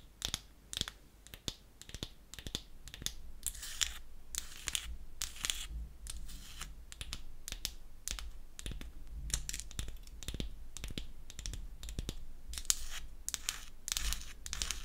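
Long acrylic nails tap and scratch the front of a small, solid, pink-painted wooden toy nail polish bottle held in the palm. The result is a steady run of quick, dry clicking taps with bright, high edges and almost no ring, interspersed with soft scratching over a faint low rumble.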